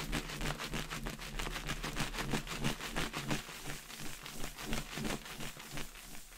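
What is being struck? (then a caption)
Latex balloon with confetti inside. A clear inflated latex balloon with confetti inside is held by the knot and shaken and swirled, so the confetti rattles against the latex. It makes a steady run of quick, crackly rattling bursts about three times a second, with short, dry decays over a low, steady rumble.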